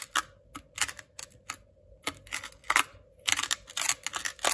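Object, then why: Kinetic sand on a plastic board. A white ceramic knife repeatedly cuts and scores lines through a thin, flattened patch of blue kinetic sand on a white plastic cutting board. It makes a quick series of crisp, bright, crunchy clicks and scrapes that stop dead after each stroke. A faint, steady background tone runs underneath.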